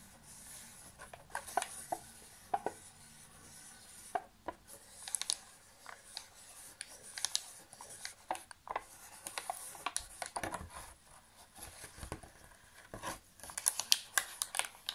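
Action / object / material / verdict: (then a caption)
tap / thin thermoformed plastic chocolate box tray / plastic / none. A thin, hollow, empty gold thermoformed plastic chocolate box tray with many cavities is held up and tapped and pressed with fingertips. The result is a quiet run of short, dry crinkling clicks and light plastic taps over faint rubbing, bright and crisp with almost no low end. The clicks come in uneven clusters and get a little louder toward the end.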